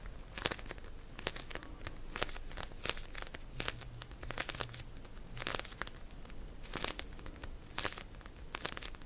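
Long nails quickly scratch and tap a pink plastic gel bead cold pack, a pouch filled with gel beads. The result is a quiet, dense stream of crinkly plastic scratching broken by sharp, bright clicks that die away almost instantly.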